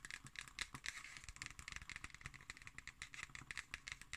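Long green nails scratch and tap on the label and top of a black cardboard hardcover notebook. The result is a quiet, rapid string of short, dry clicks and scratchy ticks that are bright and papery, with almost no ring.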